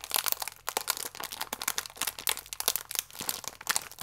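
A small, full plastic-film biscuit pack is held, squeezed and crinkled with fingers and nails. It gives a dense run of sharp, bright crackles and crunchy crinkles with almost no low end. Each snap dies away almost instantly.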